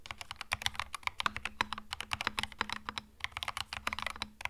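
Fingertips type continuously on a compact cream mechanical keyboard with plastic keycaps, producing a rapid stream of short, bright clicky keystrokes with very little ring. A faint steady low hum sits underneath the typing.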